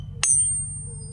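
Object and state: Ringing rock.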